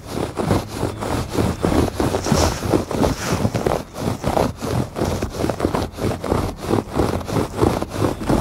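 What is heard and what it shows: Fingertips and nails scratch back and forth across the weave of a thick woven fabric rug on a porch. The result is a steady series of soft, dull scraping strokes at a loose, uneven rhythm, with a low, muffled body and little brightness.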